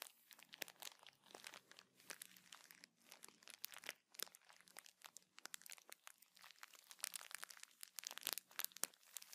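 A clear plastic bag of cotton pads with a teal label is held in the hands, crinkled and scratched with nails. The result is a dense run of sharp, bright crinkles and scratchy ticks with almost no low end and no ring.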